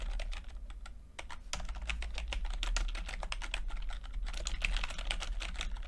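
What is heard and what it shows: Fingertips type on a plastic backlit chiclet computer keyboard with plastic keycaps, producing a fast, steady stream of short, bright clicks and taps. A constant low hum runs underneath the whole time.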